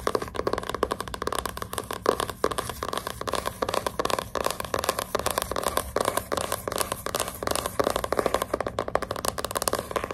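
Long pink nail tips scratch the glossy cardboard front cover of a hardcover book lying flat. The result is a steady, dense run of quick, dry scratching strokes with a papery, mid-range rasp and no lingering ring.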